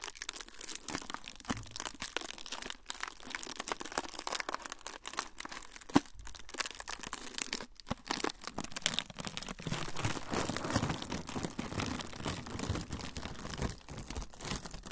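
A thin, flexible, semi-translucent frosted plastic sheet is crumpled and crinkled with the fingertips. The result is a dense, continuous stream of short, bright crackles and crisp rustling, with a few sharper pops along the way.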